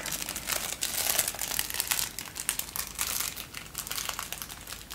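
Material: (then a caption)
Paper. A folded sheet of thin white tissue paper is held in both hands and crinkled with the fingers. A steady stream of dense, bright, papery crackles runs throughout, rising and falling slightly with almost no low end.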